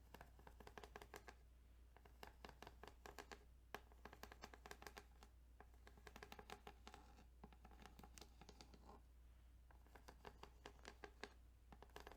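Fingertips tap and scratch across the ridged plastic of a Tetris Game Boy cartridge, making quick, dry clicks and rasps in dense bursts. Each tap is short and soft, with no ring, over a steady low hum.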